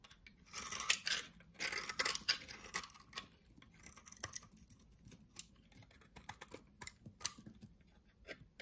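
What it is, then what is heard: Cream soap bar being cut. A utility knife shaves curls and cuts cubes from the edge of a solid cream soap bar. Quiet, bright scraping strokes give way to short, irregular crisp clicks and snips with almost no low end.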